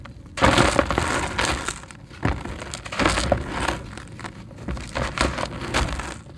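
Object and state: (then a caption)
Crumbly dry concrete brick. A hand-sized, porous grey concrete brick, solid and dry, is held in one hand while the fingers of the other hand crumble and rub pieces off it. Bursts of gritty crunching and scraping come with a dry rustle as the grit falls into a tub of the same crushed concrete. The brick is crumbly.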